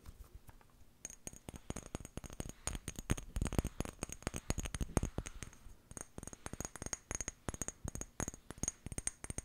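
Long painted nails rapidly tap and scratch the glass sides of a small amber glass jar with a white plastic lid, held close. After a near-quiet first second, dense, irregular clicky taps with a bright high glassy tick and short scratchy passages continue to the end.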